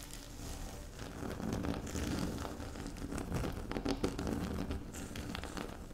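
Long pink acrylic nails tap and scratch a flat, solid speckled granite-like tabletop, making a steady run of soft crinkly scratching with quick light clicks scattered through it. The texture stays close and even for the whole clip, with no single hit standing out.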